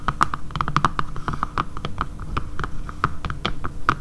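Long painted nails tap with both hands on a dark grey matte plastic phone case with a camera cutout, lying flat on a table. A rapid, uneven run of dry, clicky taps with a bright tone near 1.25 kHz dies away almost instantly, over a steady low hum.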